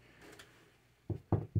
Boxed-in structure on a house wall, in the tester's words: it's Hollow I mean you can you hear that there's nothing there